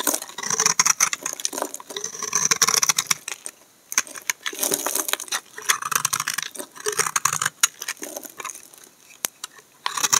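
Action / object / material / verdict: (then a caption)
scrape / bar of laundry soap scraped with a knife blade / soap / none. A solid rectangular bar of brown laundry soap held in one hand is scraped with a utility knife blade, peeling off curled shavings. Bursts of crisp, bright scraping and crackling come in uneven runs with brief quiet gaps, almost entirely high-pitched with no low end.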